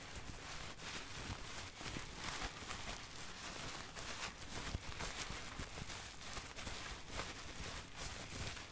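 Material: Nothing is struck.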